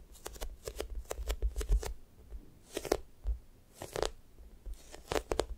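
Fingers press flat onto a yellow sticky foam squishy toast made of solid soft foam, then peel off its sticky surface and scratch it with long nails. Short crackling, tacky peeling bursts and scratchy strokes come in quick clusters over soft, low muffled presses, with brief quiet gaps between groups.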